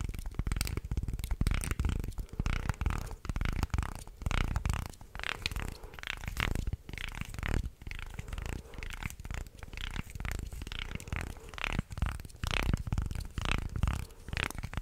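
Fingers flex and twist a light wooden articulated shark toy with slotted segments while nails scratch across the segment slats. The result is a dense, irregular stream of dry clicks, clacks and scratchy rasps with a heavy low, thumpy body and very little ring.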